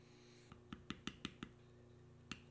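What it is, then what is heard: Leather panel tooled with a steel beveler. A steel beveler held in the fingers is tapped along a carved spiral of knotwork on a solid tan veg-tan leather panel. Eight short, dry taps, the first one faint, each with a low thud and a bright click that dies away almost at once. They come in a quick run of six, then a pause before two more, over a steady faint hum.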